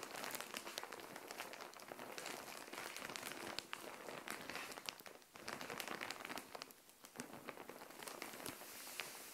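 Long nails scratch and tap across a plastic Shein mailer bag filled with clothing, lying flat on a tile floor. Dense, bright crinkling and crackling runs throughout, with a brief quieter dip near the middle. The sound is thin, with almost no low end.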